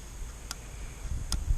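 A fingernail is flicked across the edge of a worn steel guide bar rail on a Husqvarna 455 chainsaw, catching on a sharp burr left by uneven wear because the bar was never flipped. Two short, crisp ticks stand out over a low background rumble. The burred rail needs to be dressed off with a flat file.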